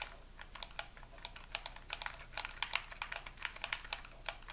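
A hollow white plastic game controller is held in both hands while its buttons are repeatedly pressed and clicked with the fingertips. The result is a quick, irregular run of short, bright, typing-like plastic clicks that die away almost instantly over a faint low background hum.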